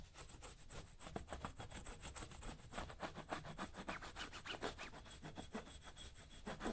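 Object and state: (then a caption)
Leather work boot being brushed. A worn black leather lace-up work boot rests on a shoe-shine stand, held by one hand, while a dark-handled brush or tool is scrubbed back and forth over its toe and upper. The result is a quick, somewhat uneven series of dry, rasping rubs with brief bright hiss and a low, soft body, each stroke stopping short with no ring.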